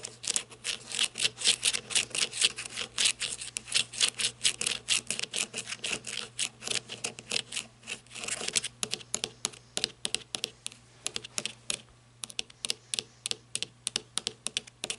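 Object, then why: Flashlight barrel, plastic or coated metal. Long red nails tap rapidly on the ribbed barrel of a black matte flashlight, plastic or coated metal, lying on a table. It makes a steady stream of dry, bright clicks with almost no ring, and the pace shifts slightly as the tapping goes on.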